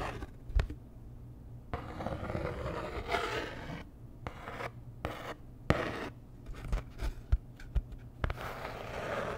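Long nails scratch and tap a flat, postcard-sized printed cardboard Dior packaging card held in both hands. Soft rasping scratches alternate with sharp, dry taps that stop short without ringing.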